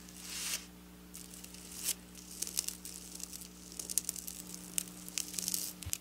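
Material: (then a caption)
Plastic. Two hands with long black nails scratch and rub across the rows of a flat silver plastic sequin fabric lying on a surface. The result is bright, crinkly rasping with a long swish at the start and a run of sharp clicky scrapes, all over a faint steady low hum.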